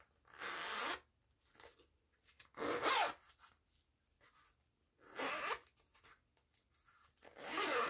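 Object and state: Zipper on a woven fabric pouch.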